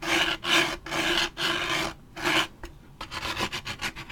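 A large waxed paper drink cup with a plastic lid has its side and top edge scratched with fingernails and a thin stick. Long, bright, raspy strokes with a faint hollow tone come first, then a brief pause. A run of quicker, shorter scratches follows.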